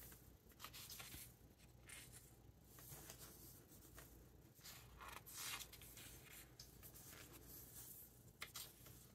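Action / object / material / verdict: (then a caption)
scrape / hardcover book with glossy paper pages / paper / none. Fingertips brush across the glossy paper pages of a large open hardcover book and flip them. Soft, bright rustling and swishing rises and falls in quick crisp bursts over a faint low hum, with one sharper flip near the end.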